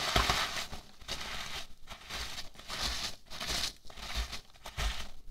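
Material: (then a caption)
Polystyrene foam. Fingertips and nails pinch, scratch and rub a large heap of small white polystyrene foam packing peanuts. The result is a series of dry, bright crinkling and squeaky scratching bursts with soft low thumps beneath them, separated by brief quiet gaps.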